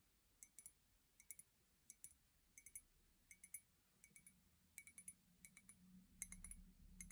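An empty, hollow white ceramic mug with a pink handle and heart prints is held by its handle and tapped with long painted nails. Quick, light, bright clicks with a very short ring come in uneven clusters. A low background rumble grows louder toward the end.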